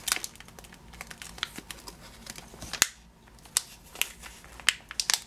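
Fingers squeeze and crinkle a full, clear plastic bag of yellow sugared almonds held in the hand. Bright, dry crackles and crinkles come in quick, uneven bursts, with a few sharper snaps standing out. Each sound dies away almost at once, with very little low end beneath.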